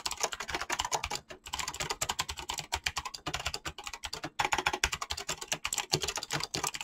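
Fingertips type fast on a mechanical keyboard with clicky switches and PBT plastic keycaps. The result is a dense, continuous stream of short, bright clacks and clicks, broken by a few brief pauses.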